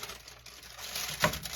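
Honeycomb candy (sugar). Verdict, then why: Hard. A disc of homemade honeycomb candy, boiled sugar foamed with baking soda and cooled, is tapped, giving light, glassy clicks and crackles with one sharper, brighter tick near the end. The hard, brittle ring shows the candy has set, ready to be smashed with a mortar and pestle.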